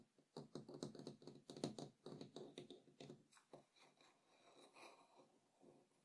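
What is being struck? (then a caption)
Small wooden bowl. Fingertips and short nails of both hands tap and scratch the rim and inner wall of a small, empty, hollow wooden bowl with acacia-like grain resting on a table. Quick, irregular hollow knocks with a woody tone around 290 Hz die away almost at once. Softer scratching and brushing follows as the tapping thins out.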